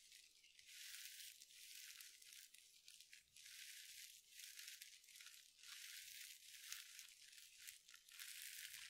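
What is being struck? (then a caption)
Mesh scrub sponge. A hand-sized soft sponge covered in glittery synthetic mesh is squeezed and scratched with long nails. The result is a quiet, bright, crinkly scratching hiss that rises and falls in repeated swells, with almost no low end.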